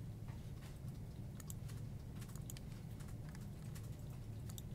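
Fingertips type on the hollow keycaps of a full-size black plastic desktop keyboard, producing a quiet, irregular stream of short, bright clicky taps. A steady low hum sits beneath the typing throughout, so the overall level stays even with no distinct peaks.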